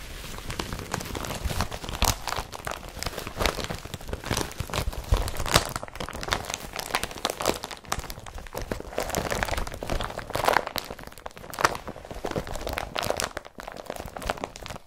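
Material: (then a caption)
Woven polypropylene. Hands fold and crinkle an empty blue IKEA BRATTBY carrier bag made of woven polypropylene plastic, then rub it flat with the palm and fingers. The result is a dense, continuous run of crackly, rustling crinkles with a bright edge and some low thumps, swelling and easing as the handling changes.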